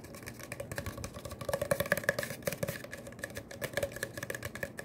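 A long, empty brown cardboard paper towel tube, hollow and open at the end, is held in one hand and tapped and rubbed along its length with the fingertips. Rapid, uneven taps mix with dry scratching, each tap a short, dull, hollow knock carrying a faint resonant tone that dies away almost instantly.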